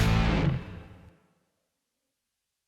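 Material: Nothing is struck.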